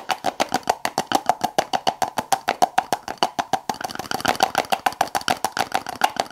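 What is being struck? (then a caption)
Small plastic tub with lid. Long acrylic nails tap and scratch the lid and rim of a small clear plastic tub with a lid, full of blue slime. Quick, dry, hollow clicks come at a fast, steady pace with a ringing tone near 800 Hz and almost no low end. In the second half, busier, brighter scratching fills in between the taps.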